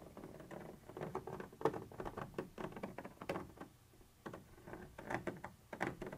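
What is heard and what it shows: A thin metal pointer tip scratches and taps across a white translucent textured plastic surface. Quiet, dry, rapid ticks and short scratchy strokes come in an uneven patter, mostly in the low-mid to midrange, with a brief lull near the four-second mark before the tapping resumes.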